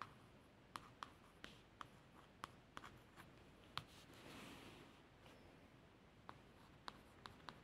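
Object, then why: Laminated cardboard book cover. A long fingernail traces the letters on the solid blue laminated cardboard cover of a hardback book, working down to the lower edge. Soft, light scratching runs under 14 short, sharp ticks with a bright edge around 1.2 kHz, and a faint hiss swells briefly in the middle.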